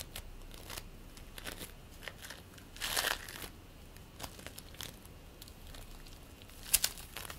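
Fingers knead and press purple play foam made of polystyrene beads into a lump, producing quiet, bright crackling and crinkling throughout. A denser burst of crackle rises around the middle, and a couple of sharper, louder pops come near the end.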